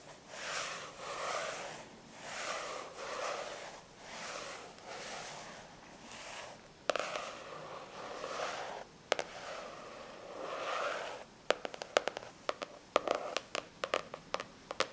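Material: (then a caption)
Cardboard. A thick spiral-bound paper notepad with a glossy printed cardboard Vampirina cover lies flat on a white towel and is scratched and rubbed with medium-length natural fingernails and fingertips of both hands. Slow, rhythmic swells of dry scratching and rubbing fill the first half, then sharper clicks and brief taps grow denser toward the end, all quiet with almost no low end.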